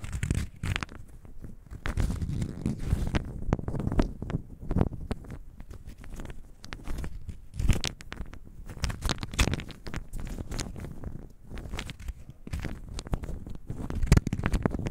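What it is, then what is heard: Small wooden cubes rolled in the hand. A handful of small, solid, unfinished pine wood cubes is shaken in an open palm, with the fingers rolling and clacking them against each other. The result is a dense, continuous run of short, dry clicks and knocks over a low, rumbling rustle, with occasional brighter, louder clacks standing out.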